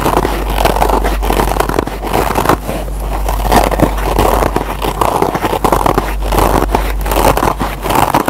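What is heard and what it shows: Short fingernails scratch and pick at the green nylon scour pad of a single kitchen scrub sponge made of foam. A steady, dense crackling scrape runs throughout, strongest in the midrange, with brief dips in loudness and a constant low hum underneath.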